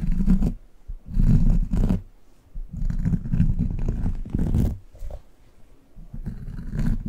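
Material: Rubber.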